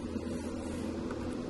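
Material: Nothing is struck.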